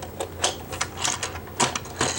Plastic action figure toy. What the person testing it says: the plastic just isn't as good as other lines, and you can kind of hear it when you shake it. It's pretty light